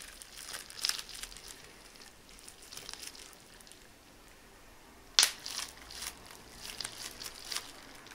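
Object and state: Plastic bubble wrap.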